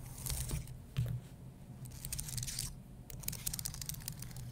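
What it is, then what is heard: Plastic and aluminum computer keyboard. Dark-painted nails scratch and tap across the key rows of a white low-profile computer keyboard with plastic keys on an aluminum base. Bursts of bright, dry scratching and rapid clicking rise and fall over a steady low hum.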